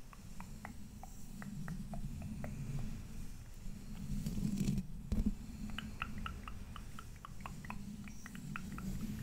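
Fingertips and nails of both hands tap and scratch the black mesh metal grille of a large condenser microphone. Soft, irregular little ticks come about twice a second, with a faint short ring, over a steady low muffled rumble. A brief louder scrape comes midway, then the light tapping goes on.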